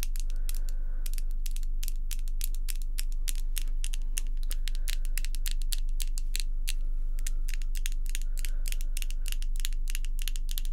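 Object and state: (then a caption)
Acrylic false nails tapping. Long pink acrylic false nails tap against each other in a fast, steady rhythm of sharp, bright clicks. The taps run over a constant low hum that stays underneath throughout.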